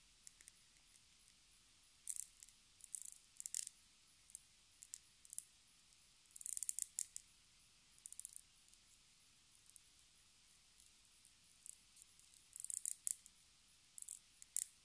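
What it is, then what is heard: Plastic cosmetic jar, hollow. Long nails scratch the ridged rim and tap the labeled bottom of a small, hollow black plastic cosmetic jar with a ridged lid, held up in both hands. Quiet, bright, dry clicks and short scratchy bursts come in irregular clusters with soft pauses between, and almost no low end.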